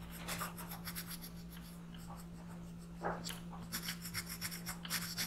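A black pencil rubs steadily across a paper coloring page lying flat on a desk, shading an alien's eye while the other hand holds the page. Short bursts of bright, scratchy strokes come and go over a steady low hum, with a quieter stretch in the middle before the strokes pick up again.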